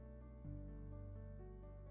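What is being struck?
Nothing is struck.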